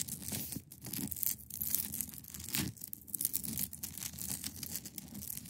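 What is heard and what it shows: Long pointed nails scratch across the top of a large, solid, clear ice block resting on a fabric surface. They make a continuous, bright, hissy rasp like tearing, with a soft low rumble beneath and brief dips between strokes.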